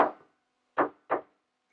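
Taps on another spot of the same old concrete floor screed produce three short, dull knocks, each a mid-pitched thud that dies away quickly with no deep low end. The screed sounds hollow here too, a sign of several layers laid one on top of another.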